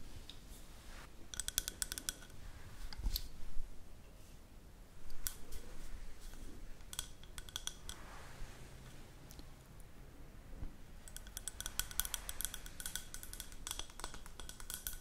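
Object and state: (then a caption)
Glass candle jar. A large green glass jar candle, lit and with wax inside, is held in both hands and tapped and scratched with long pink acrylic nails. Quick, bright clicks and ticks come in dense clusters over a soft low rumble, with a short scratchy swish between bursts.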